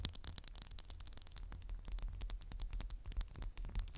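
A candle in a textured glass jar is tapped quickly and continuously with fingernails. The result is a dense stream of short, bright, clicky taps with very little ring, over a steady low hum.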